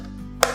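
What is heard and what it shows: Two quick knocks on the plastic casing of a Mola Nex Parabola satellite TV receiver give short, hollow taps that die away quickly, showing the casing is still plastic rather than full metal.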